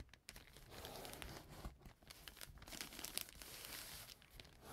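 A flat brown kraft paper bag lying on a table is rubbed and folded with fingers and nails. It makes a continuous, bright, crisp crinkling and tearing-like rustle with small crunchy peaks. The sound stays quiet and close, with no ring after each movement.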